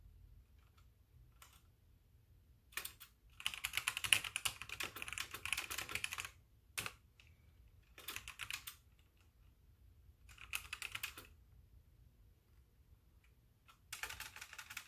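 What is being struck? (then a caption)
Plastic mechanical keyboard. A full-size white hollow-bodied mechanical keyboard with plastic keycaps and a blue backlight sits on a wooden desk, typed on continuously by both hands using the fingertips and long painted nails while the mouse beside it stays untouched. Bursts of quick, bright clicky keystrokes come in several separate runs with quiet gaps between them.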